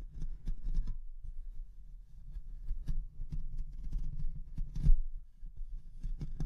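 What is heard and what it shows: Long nails of both hands scratch the hollow mesh metal grille of a Rode NT1-A condenser microphone. The result is a dense, low thumping rumble with brief bright crackles, loudest in a burst near the end.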